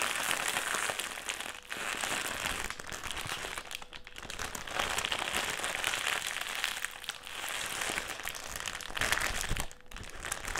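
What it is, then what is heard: Metallised plastic crisp packet. A black, foil-lined metallised plastic crisp packet is held in the hands, crumpled and folded. It makes a steady, dense crinkling and crackling that is bright and papery, with little low end. Brief quieter pauses break it up between handling bursts.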